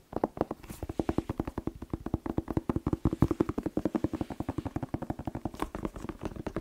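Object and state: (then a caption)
Red bell pepper. A whole fresh red bell pepper, hollow with waxy skin, is tapped quickly with fingertips and nails, giving about 58 short, dry, hollow knocks in an uneven rapid rhythm. Each tap is dull and low-mid in tone, with no ring after it.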